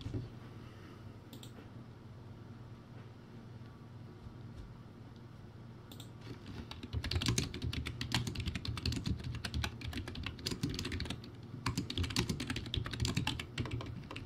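Fingertips type on a crappy, backlit, typewriter-style plastic keyboard with round white plastic keycaps. After about seven seconds of quiet low hum with a couple of faint clicks, a fast, irregular run of bright, sharp plastic key clacks begins. The clacking continues to the end, with a brief lull near the eleven-second mark.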